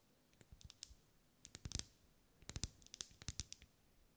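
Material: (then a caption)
Wax. A lit pink ribbed solid wax pillar candle is tapped and scratched with long acrylic nails. Quick bursts of short, dry, bright clicks come in uneven clusters over a quiet background, each dying away at once with no ring.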